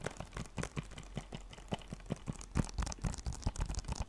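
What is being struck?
Thin plastic game case.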